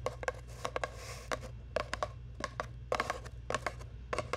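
Long nails scratch and rub a long, hollow brown cardboard tube held close to the microphone. A quick, irregular series of short, dry scrapes and taps carries a hollow mid-range tone near 600 Hz, with bright scratchy edges. A steady low hum runs underneath throughout.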